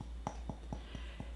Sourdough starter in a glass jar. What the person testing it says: tap on the bottom to get that Hollow sound